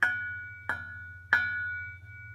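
Three taps on the steel Helmholtz sound chamber of a Goodwin Racing Miata exhaust each ring like a bell, with a sustained tone around 1.5 kHz that slowly decays between strikes. Unlike the muffler, the chamber rings, and it is named as the likely source of the metallic rasp heard under heavy acceleration.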